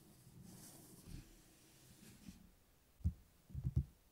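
Fingertips and nails tap the glossy cover of a thick, closed paperback book lying on a table. After a stretch of faint, soft rustling, a few quiet, dull, low thumps land near the end, each dying away almost instantly.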